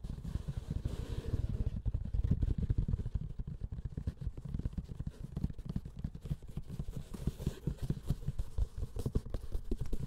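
Fingers and short nails scratch and tap across the textured surface of a closed, hollow grey woven-fabric hard-shell keyboard carrying case. The sound is a dense, continuous run of soft, dull taps and rough scratching with a deep, hollow low-end thump and almost no brightness.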